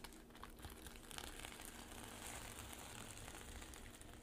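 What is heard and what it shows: Long pink nails scratch and brush across a flat rainbow reversible-sequin pouch with a black zipper edge lying on a table, flipping the sequins to silver. A steady, soft, crinkly rustle with bright scratchy texture continues throughout, without distinct separate hits.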